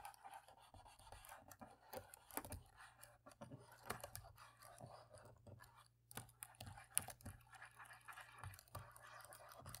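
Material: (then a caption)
Plastic. A cotton swab scratches between the black plastic keys in the middle rows of a plastic laptop keyboard. It makes soft, dry, rapid scraping and rubbing with small clicky ticks and brief bright flecks. A faint steady hum sits underneath.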